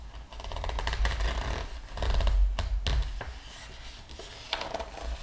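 Fingertips of a flat hand rub across the glossy paper pages of a large open art book while the other hand lifts and turns a page. Dry, scratchy rustling builds into louder crinkles and a few sharp paper snaps over a steady low rumble, then settles into softer brushing before a final bright crackle.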